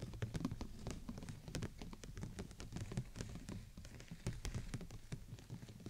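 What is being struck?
Thin plastic umbrella canopy.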